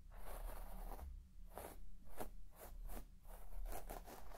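A white plastic comb scratches through the pile of a large red shaggy textile carpet, making a series of soft, raspy strokes with bright hissy edges. A steady low hum sits quietly underneath the scratching.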